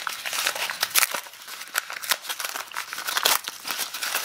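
Fingers unwrap a small wad of brown kraft packing paper held in both hands, possibly with a small item wrapped inside. Dense, bright crinkling and crumpling runs throughout, with sharp crackles and louder bursts near 1 and 3.3 seconds and almost nothing in the low end.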